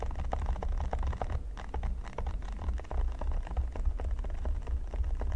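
Fingertips and nails scratch and tap across a flat, solid red silicone pyramid mat, making a dense run of quick, soft clicks and scratchy ticks. The sound sits over a steady low rumble and stays at an even level throughout.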